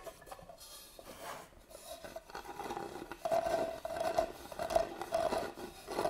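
Fingernails scratch the lid of a medium, hollow, hand-carved wooden box, then the box is tilted up and its carved lid is scratched with nails. Soft, dry raspy scraping starts quietly and grows louder in the second half, where short squeaky, resonant scrapes around 650 Hz come in uneven bursts.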